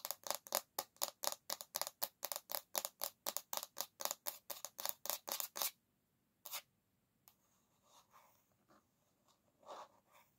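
Long nails scratch across the solid bamboo back of an oval hairbrush in a fast, steady run of short, bright strokes for about six seconds. After a pause comes one more stroke, then a few quieter, softer scrapes.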